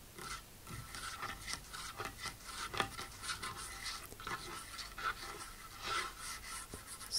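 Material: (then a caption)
Wood. Long acrylic nail tips slowly scratch and rub across a large, solid, dark polished wooden tabletop. The sound is a quiet, bright scraping and rasping, with soft strokes and brief ticks that fade almost at once.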